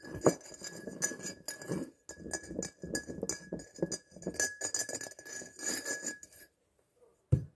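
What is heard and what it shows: Long nails tap and scratch the sides and base of a medium faceted glass jar filled with dried flower petals, held in the hands. Dense, bright clicking and scraping runs for about six and a half seconds over a faint steady tone. After a near-silent pause, one final sharp tap sounds on the glass.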